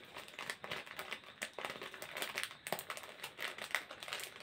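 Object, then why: Thin plastic snack wrapper. A small printed plastic snack packet is crumpled and crinkled between the fingers of both hands close to the face. It makes a steady run of bright, crackling crinkles, each a quick, sharp burst that dies away at once with almost no low end.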